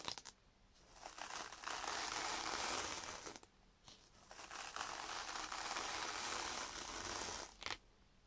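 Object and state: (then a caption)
Foam sponge scrubbed on sandpaper. A yellow foam kitchen sponge with a green scouring pad is held by hand and scrubbed back and forth on a sheet of sandpaper. It makes a bright, hissy, gritty rasp that swells into two long strokes, with short scratches and quiet pauses between them.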